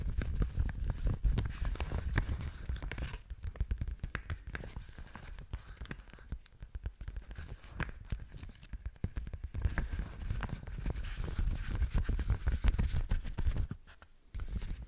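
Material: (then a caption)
Plastic. A clear, thin punched plastic document sleeve is held at the top edge by both hands while long nails crinkle, scratch and squeeze it. Dense, irregular crackling and scratchy rustling run throughout, with most of the weight in a low, muffled thump-like rumble and only faint brightness. The sound briefly drops almost silent near the end before resuming.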